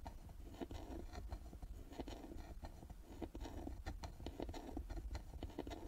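Long nails scratch and tap across the carved lid and metal plaque of a small hollow carved wooden box resting on a table. Quick, dull, low-heavy taps come in an irregular stream over soft scraping, each dying away almost at once with only a faint bright edge.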